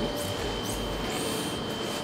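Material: Nothing is struck.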